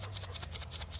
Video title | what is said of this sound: Extend the Life of your Camper's Water Filters - How to Store Your Blu Technology Water Filters | you can hear that it's nice and dry and loose, right? Nothing's all clumped up in there.